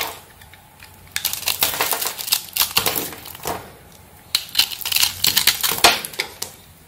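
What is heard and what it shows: A small metal blade cuts and scrapes thin slices off a hand-held solid bar of soap with a pink and black marbled surface, and the shavings fall onto the table. Two bursts of crisp, bright, crackly scraping are heard, separated by a short quiet pause. Each burst is made of rapid little cracks with almost no low end.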